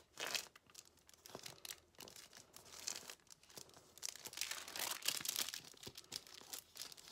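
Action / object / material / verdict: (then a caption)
scrape / thin paper sheet / paper / none. A thin, flat, empty white paper sheet is folded and crinkled with red-painted fingertips on a white table, with scissors lying nearby untouched. Quiet, bright, dry crinkling and crackling comes in irregular bursts with brief tearing-like rustles, mostly high in pitch with almost no low end.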